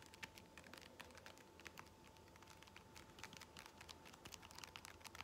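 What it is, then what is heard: Foam massage roller. Long fingernails scratch and tap the textured surface of a blue ridged foam massage roller held close. The result is a steady run of quick, bright, dry clicks and scratchy rustles with almost no ring, over a faint constant hum near 900 Hz.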